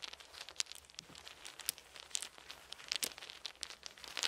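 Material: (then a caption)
Wood. Small round solid wooden beads are held in both cupped hands as the fingers shift and rattle them, letting a few fall onto a soft blanket. Quiet, dry, bright clicks and crinkly rattling come in quick, uneven bursts with no low end, each tick dying away almost instantly.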